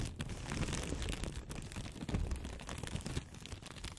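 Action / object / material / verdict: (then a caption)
scrape / thin paper blotting sheets / paper / none. Two thin, flat white blotting-paper sheets, one held in each hand close in front of the mic, are rubbed and crinkled between long-nailed fingertips. The result is a continuous, dense rustling and crinkling with a heavy low rumble and faint bright crackle throughout.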